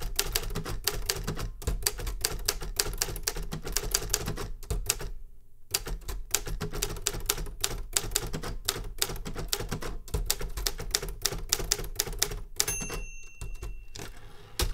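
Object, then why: Metal manual typewriter. Fingertips type continuously on the round keys of a large vintage metal Remington Super Riter manual typewriter with a grey-beige steel body and paper loaded, resting on a wooden desk. Dense, sharp, bright clacks ride over a heavy low thump, with a brief pause just after five seconds. Near the end, a few steady high tones ring out through the typing.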